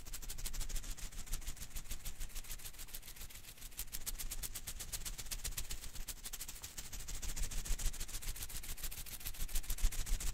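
A single blue and green Koosh ball of thin rubber filaments is held in one hand while fingers rapidly flick and strum its strands, sometimes shaking the ball. The result is a steady stream of fast, dry, bright ticking snaps over a soft low rumble, swelling slightly louder toward the end.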